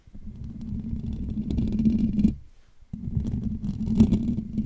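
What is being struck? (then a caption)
Metal wire-mesh microphone grille. Fingertips and short nails of both hands scratch and tap the hollow metal wire-mesh dome grille of a Blue Yeti USB microphone. A dense, low, rumbling scratch with a steady hum-like tone runs for about two seconds, and brief bright clicks build toward the end. It breaks off into near silence before resuming for another two seconds.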